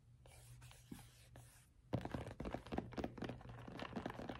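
Fingertips and short nails scratch and tap a dark grey, oval, hollow headphone case with a textured fabric-covered hard shell, held up close. First comes soft, bright scratching in bursts with short pauses. Then a quick, uneven run of dull, hollow taps follows, each one dying out at once over a faint low hum.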